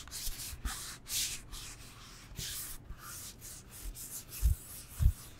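A solid rectangular foam yoga block, held in the hands, is scratched and rubbed with long nails, making a series of bright, hissy scraping strokes. Near the end, two dull low thumps stand out above the soft rubbing.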